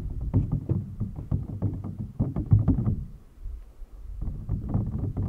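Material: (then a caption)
Plastic. Fingertips and nails tap and scratch the top of an empty, clear, hollow PVC toy packaging box. The result is a dense run of quick, dull, low-pitched taps with short scratchy edges and almost no ring. The sound drops to a quieter stretch partway through before the tapping picks up again.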